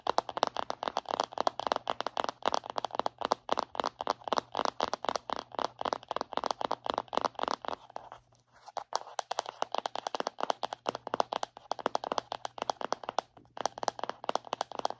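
Long nails tap and scratch rapidly on the printed label lid of a round plastic body butter tub held in both hands, making dense, dry clicks and crinkly scrapes. A brief lull comes around the middle before the tapping picks up again, over a faint steady low hum.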